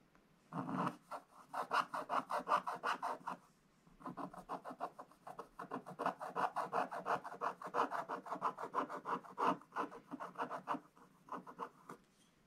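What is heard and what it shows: A wooden stylus scratches a gift sack design into the black coating of a scratch-art book page. Quick, raspy back-and-forth scratching strokes come in two bursts separated by a short pause near four seconds. The sound is a dry midrange scrape with no low rumble.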